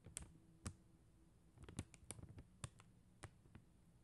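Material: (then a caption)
Plastic. Long acrylic nails tap on a flat plastic rhinestone sticker sheet of faceted gem stickers. Around eleven quiet, irregularly spaced clicks are heard, each a crisp tick with a bright edge over a soft low thud. Each tap dies away almost at once.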